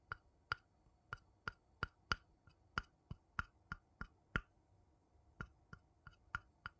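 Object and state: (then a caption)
Wooden bowl tapped. A small, hollow, empty, light-colored wooden bowl is held upside down in one hand and tapped on its outer base with the tip of a thin wooden stick. A quiet series of separate, irregularly spaced taps is heard, each a dry, woody knock with a pitched tone near 1.4 kHz and almost no ring.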